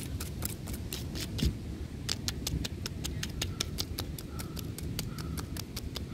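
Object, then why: Tree trunk bark. Fingertips and nails of both hands scratch and tap the rough bark of a large, solid tree trunk. A steady stream of sharp, bright clicks and scratchy ticks rides over a dull, low rumble, each tap dying away almost instantly.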